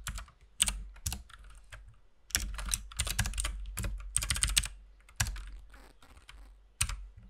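Both hands type with their fingertips on a compact RGB mechanical keyboard with white and pink plastic keycaps. Quick, bright plastic clacks come in irregular bursts and short runs, separated by brief pauses. A steady low hum sits underneath.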